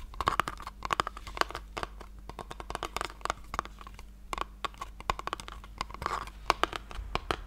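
Long painted nails tap and scratch a small hollow pink cardboard gift box held close to the mic. Quick, dry clicks and scrapes land in an irregular stream, each ringing briefly with a hollow, papery tone around 1 kHz. A faint steady low hum sits underneath throughout.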